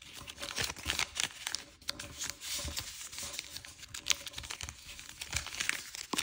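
Fingertips fold a single thin square sheet of chiyogami origami paper, printed blue and green with a pink back, on a light wooden table and rub along its creases. The result is a busy run of bright, dry crinkling and crackling with quick, uneven bursts and almost no low end.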